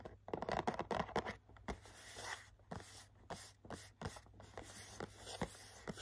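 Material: Cardboard.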